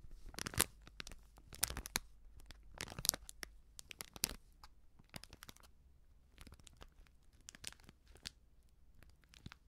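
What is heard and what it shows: A small, sealed, filled plastic-foil baking soda sachet is crinkled and scratched with long nails. Bursts of bright, crisp crinkling come in clusters, with sharp clicks and scratchy taps between them. The crinkling grows quieter and sparser toward the end.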